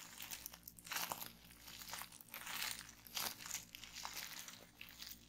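Clear plastic bubble wrap on a table is gripped and twisted in both hands, with the fold squeezed. The result is a continuous bright crinkling of plastic broken by sharp crunchy pops as bubbles burst.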